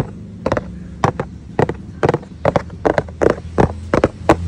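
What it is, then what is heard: Cardboard pizza box. Fingertips and short nails, one finger wearing a metal ring, scratch and rub the printed lid of a large, flat, hollow corrugated cardboard Shakey's pizza box whose contents are not visible. About a dozen quick, dry, papery scrapes and taps stand out over a low steady hum, and the hand lifts briefly at the end.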